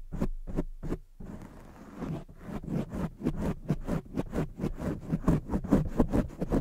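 Long fake nails scratch the sides and lower area of a black foam microphone windscreen. Three separate scratchy strokes are followed by a brief steady rustle, then a quick, uneven run of muffled scraping strokes with a heavy low thump to each.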